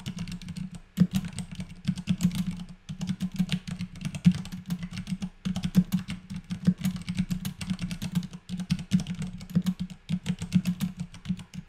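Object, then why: Mechanical keyboard with plastic keycaps. Continuous fast typing on a compact white Vortex Pok3r mechanical keyboard with Cherry MX Clear switches and plastic keycaps, resting on a desk and struck with both hands' fingertips. A dense run of short, low-pitched clacks with bright clicky edges rolls on with brief pauses between bursts.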